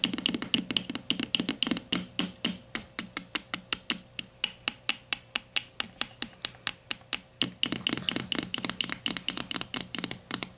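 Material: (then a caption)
Plastic. Long matte nails tap and scratch the side of a grey plastic Dove Men+Care deodorant stick lying on its side, its hollow plastic casing filled with product. About fifty sharp, bright, clicky taps come in quick bursts at the start and end, with a steadier, more evenly spaced run in the middle. Each tap is dry and stops instantly with no ring.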